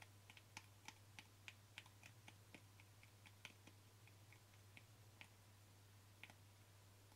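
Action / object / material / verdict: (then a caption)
tap / small plastic jar with screw lid / plastic / none. Short fingernails and fingertips tap the screw lid of a small white plastic cream jar, making about 21 quick, light, irregular clicks. The taps are dry and bright with almost no ring, over a steady low hum.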